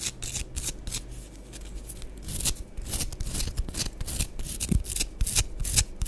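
Long acrylic nails scratch and scrape the flat cut face and curved surface of a solid, palm-sized half of a round orange and green pressed bath bomb, held in both hands above a powder-covered board. Dry, bright rasping strokes come in quick repeated bursts over a soft low rumble, growing slightly louder toward the end.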